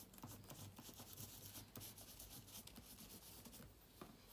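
A bunched yellow microfibre cloth wipes across the plastic keys of a silver laptop with an aluminium body. The result is a soft, continuous rubbing and scratching with bright, airy texture and a faint low hum underneath.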